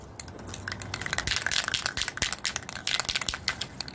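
A metal can of gold spray paint, still holding a fair amount of paint, is shaken hard and fast. It produces a dense burst of bright, crunchy rattling with quick clicks that keep up for about four seconds and no lasting ring.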